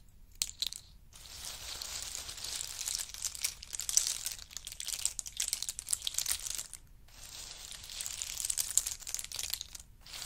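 Hands scoop handfuls from a pile of pistachio nuts in their hard shells and let them trickle back onto the pile. The result is a dense, bright rattle of small clicking shell hits, swelling in two long waves with brief quiet gaps near one second and seven seconds.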